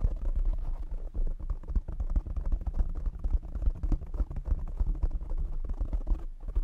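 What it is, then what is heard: Foam microphone windscreen. Fingertips tap rapidly on a black foam windscreen covering a condenser microphone. The result is a dense, continuous stream of muffled, deep thumps and soft scratchy rustles with almost no high end, each tap dying away instantly.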